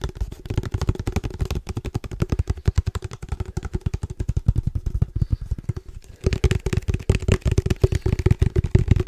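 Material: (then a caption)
Plastic. Fingertips tap quickly on the body of a hollow black plastic padel ball tube held near the mic and turned in the hands. The result is a long run of rapid, dry, low hollow thumps with a faint steady resonant tone, briefly thinning out and quieter just before the six-second mark before resuming.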